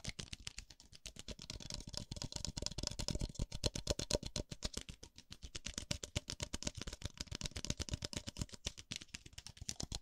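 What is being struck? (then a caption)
Disposable paper cup. A single small white disposable paper cup, hollow and empty, is held open end toward the camera in one hand while the fingertips of the other hand tap its rim and base. The result is a fast, continuous stream of short, dry, hollow taps with a low thump and a crisp papery top, shifting between the right and left sides of the microphone.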